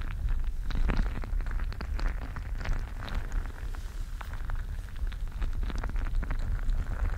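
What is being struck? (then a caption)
Mesh-covered stress ball filled with gel beads. A gel bead filled mesh squishy stress ball is squeezed and rubbed with fingertips right at the microphone. The sound is a continuous, steady low rumble packed with dense, brief crackling clicks and squelches, running throughout with no pauses.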